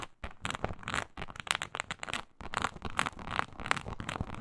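Long pointed nails of both hands scratch across a flat, iridescent blue-purple faux snakeskin leather mat with an embossed reptile-scale texture, likely synthetic leather, laid flat. A dense run of quick, dry scratching and crackling strokes sounds bright and textured, with a short pause partway through before the scratching resumes.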